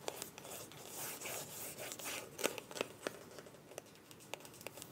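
Long nails tap and scratch a small, filled white plastic cosmetic tube with a mint cap. Soft, bright scratching and rubbing runs throughout, broken by sharp, quick clicking taps that die away almost instantly. The sound is quiet and close, with little low end.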